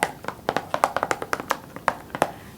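Fingers tap on the front cover of a plastic Scott Pilgrim vs The World DVD case, making about 15 quick, dry, hollow clicks in an uneven rhythm. Each tap is bright and midrange-centered with almost no low end and fades almost instantly.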